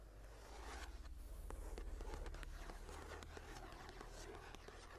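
Long nails scratch and tap on the blank, lined cream paper pages of an open journal, giving soft, dry scraping with faint taps over a steady low hum.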